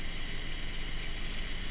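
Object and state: Nothing is struck.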